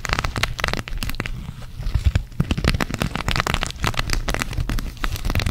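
Long acrylic nails scratch and tap the sequins on a flat, thin, flexible green cactus-shaped sequin fabric patch held in both hands. The result is a dense, continuous run of sharp, crackly clicks and rustles that sounds like rain pattering on a surface, with bright ticks over a steady low rumble.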